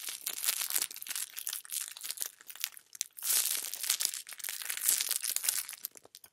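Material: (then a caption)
Cellophane. A thin, clear, hollow and flexible plastic cellophane bag is squeezed and crinkled by hand and fingertips with dark-painted nails, held close to the microphone. It gives a dense, bright crackling of many sharp crinkles in two main bursts, with a short quieter pause near the three-second mark, and nearly nothing in the low end.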